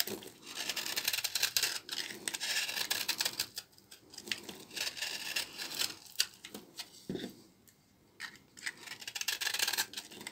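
A small knife repeatedly scrapes and shaves the dry, crumbly surface of a solid bar of old, dry brown laundry soap held in the hands. Bright, hissing scraping strokes come in dense bursts with short quiet gaps, the crisp sound almost entirely high and with no low rumble.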